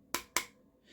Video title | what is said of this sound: Kel-Tec P17 - UNBOXING and First Look (See Comments for FULL REVIEW link) | Now, if it's possible for a gun to sound plasticky, this gun sounds very plasticky. You can hear it when you tap the grip.